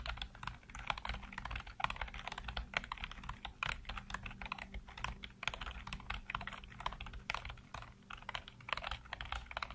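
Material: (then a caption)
Plastic. Fingertips type rapidly across a full-size black plastic computer keyboard with hollow keycaps, making a dense run of short, clicky taps with bright, hollow plastic clatter. The keystrokes come in quick, uneven bursts over a low steady hum, each tap dying away almost instantly.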